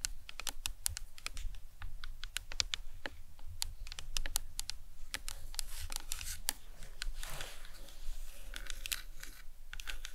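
Long acrylic nails tap and lightly scratch a large, hollow, white plastic anatomical skull cap with painted suture lines, resting on a towel. Rapid, sharp, bright clicks with almost no ring follow one another steadily, broken by brief raspy scratching passages.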